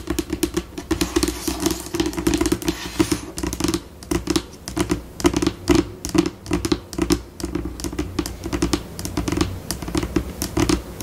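Long pink acrylic nails on both hands tap and scratch across a flat, solid white laminate tabletop, changing between slow and fast pace. Rapid dry clicks and scratchy strokes pile into dense bursts, each tap cut off almost instantly with no ring, over a steady low-mid tone.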